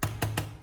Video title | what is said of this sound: Pour Super Glue onto Styrofoam and Amaze With Results. The Strongest Glue I Have Ever Seen | Gõ nhẹ mảnh nhựa xuống bàn cho thấy khu vực được sửa chữa vẫn ổn định và chắc chắn.